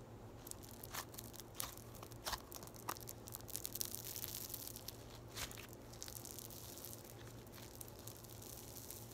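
A small handful of yellow floam, a soft solid mass of polystyrene microbeads in slime, is squeezed and poked by fingers with long white acrylic nails. It makes quiet, bright crackling crunches and soft squishes over a steady low hum.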